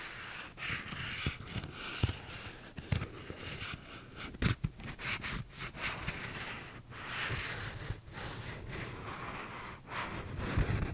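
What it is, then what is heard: Paper cup with textured plastic sleeve, scratched. A small paper cup, a hollow open cylinder with a cardboard inner wall and a blue bumpy plastic outer sleeve, is held sideways and scratched with fingernails. The result is a steady, dry rasping and scraping with a bright, hissy edge. Occasional louder low thuds and brief pauses break up the scratching.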